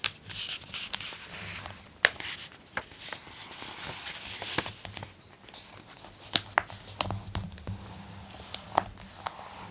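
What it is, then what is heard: Glossy paper magazine page being turned. An open glossy paper magazine has its page flipped over and smoothed with fingertips and long nails. The result is a soft, bright crinkling rustle broken by sharp clicks and taps.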